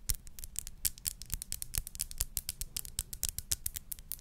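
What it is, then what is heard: Glass perfume bottle tapped and scratched with nails. Long nails tap and scratch a small clear glass perfume bottle with a crown-shaped cap, held up. A quick, uneven run of about thirty short, crisp clicks follows, each dying almost instantly, with bright high ticks over a faint low thump and a light scraping texture between them.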